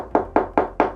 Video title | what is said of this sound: 완벽한 공간구성 l "신축아파트도 이런구조로 지으면 좋겠다" l 36년된 아파트 인테리어 | 퉁퉁 소리 들리시죠 전체적으로 창문을 제외한 나머지 벽면을 단열 작업을 진행해 드렸습니다